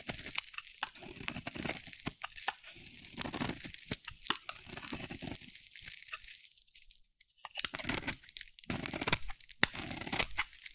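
A metal utility blade carves and scrapes green curls off a solid, hand-sized green and teal bar of dry soap. Dense, bright crunching and crackling scrapes come in bursts, with a brief near-silent pause partway through before the carving resumes.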